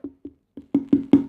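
Several knocks land on the wall of dates forming the shell of a traditional Somali wedding xeedho food package, unwrapped with its top removed. Each knock is a short, dry, woody tock centred around 280 Hz that dies away almost at once, and the later knocks come harder and closer together. The shell sounds properly hollow, as already suspected when a knife slid into it.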